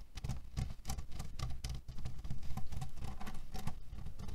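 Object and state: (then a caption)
Cherry pit pillow. A flat cotton canvas pillow filled with cherry pits and printed with cherries, lying on a table, is scratched and tapped with the short fingernails and fingertips of both hands. The result is a quick, irregular patter of soft, low thuds, with brief bright crackles from the pits shifting inside, each sound dying away almost at once.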